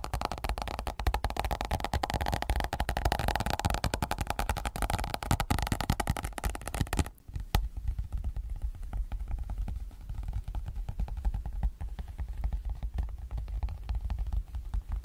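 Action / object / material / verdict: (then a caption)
tap / thin clear vinyl binder cover sheet / PVC vinyl / none. Flat fingertips of both hands rub and tap the thin, clear PVC vinyl inner cover sheet on the left side of an open zippered planner, while the ring binder and pages sit still on the right. The result is a dense run of quick, soft, low-heavy crackling taps and rubs that is fuller for the first seven seconds. After a brief near-silent gap, it continues more quietly.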